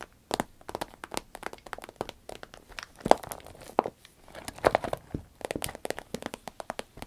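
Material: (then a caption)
Vinyl. Long red nails scratch, tap and squeeze the surface of a small, hollow, soft cylindrical pencil case made of shiny green zippered vinyl. The result is a dense run of quick, crisp crinkling taps and short scratches, with sharp, dry clicks centered in the midrange and a few louder accents. The touches are irregular and spaced with brief gaps between them.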